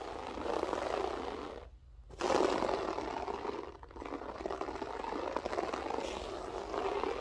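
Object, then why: Loop-pile floor carpet. Long acrylic French-tip nails on both hands scratch a flat beige loop-pile carpet with a textured pile. The result is a continuous, dense, midrange raspy scratching that briefly stops near the two-second mark and dips again shortly before four seconds.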